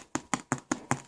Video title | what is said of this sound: Pot Fire Bread | you can hear the hollow, how it sounds hollow inside. That tells you that the bread is done baking